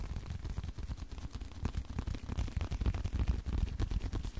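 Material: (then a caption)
Leather. Fingers keep tapping on a leather card wallet, making a fast, uneven run of soft, dull thuds. The taps are deep and muffled, with almost no bright content, and each one dies away almost at once.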